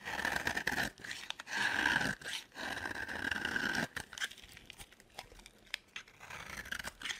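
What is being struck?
Bar of soap cut with a metal blade.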